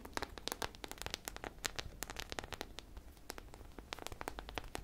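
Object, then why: Polyurethane foam squishy toy. A hand-sized, solid polyurethane foam squishy popsicle covered in sprinkles is held in both hands and scratched with long nails along its bumpy sprinkle surface. The result is a quiet, dense run of rapid, bright crackling scratches and clicks, each very short and dry, over a soft low rustle.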